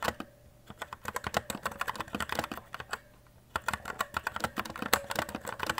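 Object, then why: Mechanical keyboard with plastic keycaps. Fingertips with short nails type continuously on a white E-Element Z-88 RGB mechanical keyboard with plastic keycaps, resting on a desk. About 32 short, crisp plastic clacks come in two quick runs separated by a brief pause around the middle of the clip. Each keystroke is sharp and bright and dies away almost instantly.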